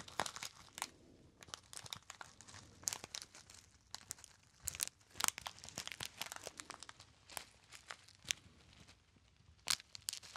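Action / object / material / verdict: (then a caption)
scrape / small metallized foil pouch / metallized foil / none. A small gold metallized foil pouch with a crimped top, hollow and apparently empty, is crinkled and squeezed by fingertips. Dense bursts of sharp, bright crackling and crunching come in quick irregular clusters with almost no low end, and each snap stops instantly with no ring.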